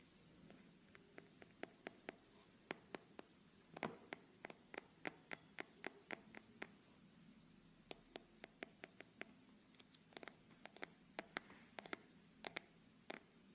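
A small, closed, round plastic tub with a blue label, filled with blue foam clay, is held in the hand while fingertips tap and scratch its lid and label. Dozens of quiet, sharp, bright clicks and light scratches sound in an irregular run, each dying away almost instantly over a faint low hum.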